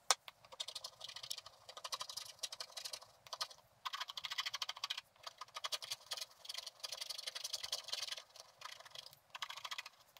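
A thin wooden stylus held by the fingertips scratches across a flat scratch-art card, scraping off its black coating to reveal the gold layer beneath. Quick bursts of dry, bright scratching strokes follow one another with short pauses, with almost nothing in the low end.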